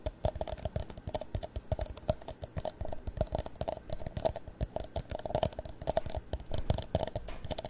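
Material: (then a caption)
Plastic. A tall, empty, hollow clear plastic cup is held in both hands and rotated while fingernails tap and scratch its sides. The result is a quick, steady flurry of short, dry clicks and taps with a faint hollow ring in the mid range, mixed with light scratching.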